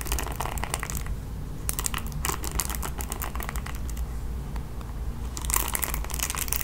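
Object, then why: Plastic paddle hairbrush with bristles. Long nails scratch across the bristle pad of a red plastic paddle hairbrush held in hand. Bursts of dry, bright, crinkly scratching come and go over a steady low hum, with a quieter stretch in the middle before the scratching picks up again at the end.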